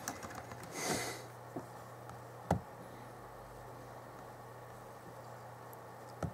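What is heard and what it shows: Fingertips from both hands slowly tap the plastic keys of the backlit chiclet keyboard on a 2011 Alienware M11x R2 laptop. Sparse, soft key taps are heard, with a brief bright hiss early on and sharper clicks near the middle and end. A steady low hum runs underneath throughout.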